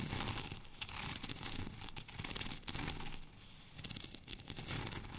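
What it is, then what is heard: Textured plastic rolling pin. A long, cylindrical white plastic rolling pin with a studded, bumpy surface is held in both hands and scratched along its textured surface with short natural nails and fingertips. The result is a dense, crackling, crinkly scratching with quick bright clicks riding over a soft low rumble, steady throughout with brief dips.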